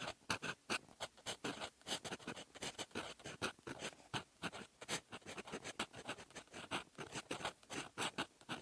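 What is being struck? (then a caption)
Metal fountain pen nib on lined writing paper. A silver metal fountain pen nib writes in red ink on a flat sheet of lined writing paper, scratching across it in handwriting strokes. The result is a quiet, steady run of short, dry, bright scratches with brief pauses between strokes and very little low end.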